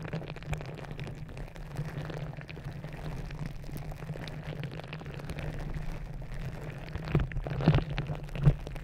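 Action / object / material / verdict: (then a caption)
scrape / rubber gel-bead squishy ball / rubber / none. A green glitter rubber gel-bead squishy stress ball, stretched over the top of a microphone, is scratched and squeezed with long red nails. The result is a dense, muffled crackling and rustling over a steady low hum, almost all of it low in pitch, with a few louder squishy pops toward the end.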